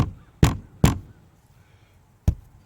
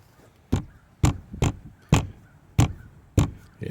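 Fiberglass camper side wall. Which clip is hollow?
The first.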